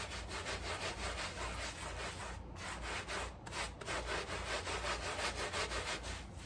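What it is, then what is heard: Woven rug being scrubbed. A gloved hand scrubs a small, dark, dirty flat woven rug back and forth with a handheld scrub brush; the rug lies on a tile floor and is sprinkled with cleaning powder. Steady, rhythmic rasping strokes of bristles on fabric repeat at almost three per second, bright and broad, over a low hum. The strokes run continuously, with a few brief pauses.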